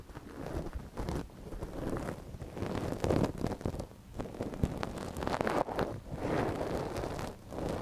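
A gloved hand scratches inside the canal of a small, hollow white silicone dummy ear on a binaural microphone with a thin wooden ear pick. Close, muffled rustling and scraping come in uneven bursts that swell and fade, heavy in the low end with little brightness, and a few sharper clicks stand out.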